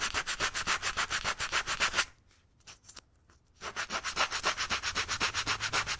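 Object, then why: Rubber bicycle inner tube. Fingertips rub a small piece of sandpaper back and forth on one spot of a hollow, deflated black rubber bicycle inner tube, held up in a loop, to roughen it for a patch. Quick, steady, bright rasping strokes come at about four per second, then stop for about a second and a half with a couple of faint scrapes before the rhythmic sanding resumes.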